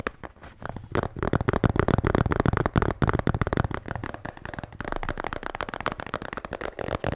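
A blue Bintang beer can holder is tapped and scratched. Quick, irregular taps of about four per second mix with scratching into a dense, dull, low-heavy clatter with very short, dry decays and little bright content.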